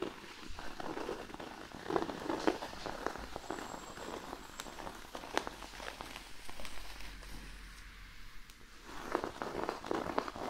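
Fingernails on both hands quickly scratch and tap a large, flat, thin cork sheet resting on a blanket. Dry, crackling scratches mix with crisp, short taps, growing quieter in the middle before a louder flurry near the end.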